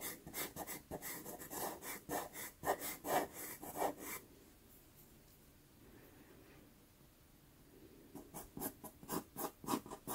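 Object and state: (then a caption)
Pastel paper scratched with a pastel pencil. A white pastel pencil scratches quick hatching strokes across a small taped sienna Pastelmat card, making a soft, gritty rubbing rasp with a bright edge. About fifteen short strokes come in two bursts, separated by a few seconds of near-silence.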